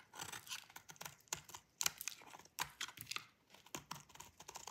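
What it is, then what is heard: Dry bar soap being cut. A solid oval bar of dry pale-mint soap, held in the palm, is scraped and cut with a metal utility blade so that flakes fall off. The sound is a quick run of dry, crisp scraping crackles with a bright, high hiss, each stroke short and sharp with almost no low end and no ring.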